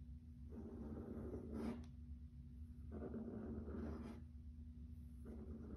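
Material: Laminate.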